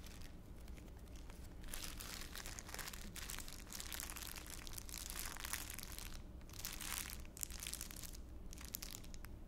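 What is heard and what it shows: A thin, clear, empty plastic bag is held up close to the face and crumpled with the fingers of both hands. It makes a steady, bright crinkling that swells and thins in waves over a low, constant hum, with a few brief quieter gaps.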